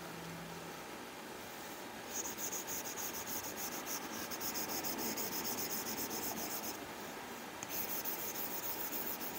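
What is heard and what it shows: A plastic Apple Pencil tip draws short, quick strokes across a flat glass iPad screen covered with a matte plastic screen protector. After about two seconds of soft hiss, a rapid, fairly steady run of dry, papery scratches begins, with a bright, high edge. The scratching briefly softens near the seventh second, then resumes.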